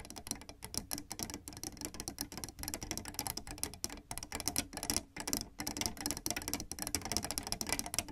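Fingertips with red nails tap and press the black and white plastic keys of a piano keyboard, making a rapid, continuous run of bright, typing-like clicks. The clicks are short and dry, with little ring, and crowd together too closely to count.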